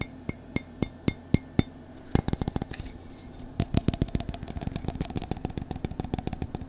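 Fingertips and nails tap on the side and rim of an empty-looking white Star Wars ceramic mug with a handle. Six evenly spaced, sharp clicks come first, then two bursts of rapid, clustered tapping. Each tap is short and bright, with a faint high ringing tone over a soft low hum.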